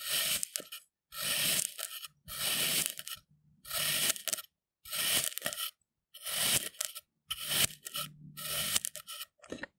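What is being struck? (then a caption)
Kinetic sand cut with a knife. A thin steel knife blade presses vertically down through a solid pink and purple kinetic sand half-disc resting on a white surface, making repeated parallel cuts. Each cut produces a bright, gritty, crunchy scrape lasting under a second, separated by short silences.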